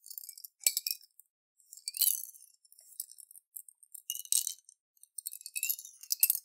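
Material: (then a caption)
Glass. A clear glass jar with a metal lid, holding water and beads, is turned over and shaken in both hands. Quiet, bright clinks and rattles come in irregular bursts with very short ring, all high in pitch with no low end.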